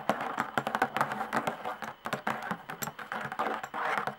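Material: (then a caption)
Hide. Long nails tap rapidly on the hide head of a tambourine stretched over a hollow wooden rim. The result is a quick, uneven run of short, dry clicks with a soft, papery body around 700 Hz and bright ticks, each dying away almost at once.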